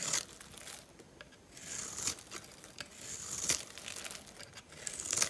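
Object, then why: Bar of soap scraped with a blade. A metal utility-knife blade scores and scratches thin strips into the surface of a dry, hand-sized oval bar of soap with purple and white stripes, held in one hand. Bright, crumbly scraping and crinkling comes in uneven bursts, with quieter gaps of faint scratching between the louder strokes.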